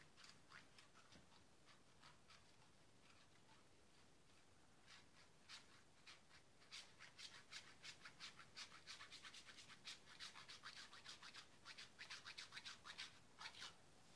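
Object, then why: Bar of soap on a metal grater. A small, solid white bar of soap is rubbed back and forth against a handheld metal grater, scraping it into flakes that pile up on a paper towel. Quiet, bright, dry rasping strokes start sparse and faint, then quicken into a steady run of about three scrapes per second. Each stroke is short, with little low end.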